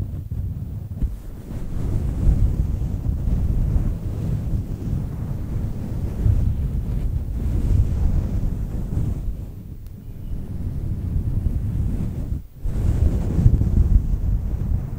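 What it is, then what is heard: Faux fur microphone windscreen being scratched. Long nails and fingertips repeatedly scratch a fluffy faux fur microphone windscreen made of synthetic fur. The result is a dense, muffled, low rumbling rustle with almost no high or bright content, swelling and easing irregularly and briefly dropping out near the 12-second mark before resuming.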